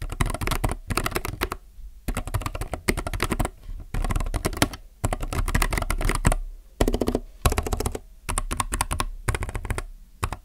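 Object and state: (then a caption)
Plastic mechanical keyboard. Fingertips type on a plastic mechanical keyboard in quick bursts of clicky, clattering keystrokes, with short pauses between bursts. The keystrokes have a deep, low-weighted thock with short, dry decay.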